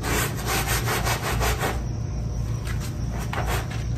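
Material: Synthetic fiber.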